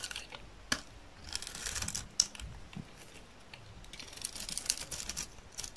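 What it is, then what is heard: Dry soap bar scraped with a blade. A yellow utility knife blade scrapes thin curls off the surface of a hand-held, solid, dry green soap bar. The result is a quiet run of dry, bright scraping and crackling strokes, with a few sharp clicks that stand out and die away almost instantly.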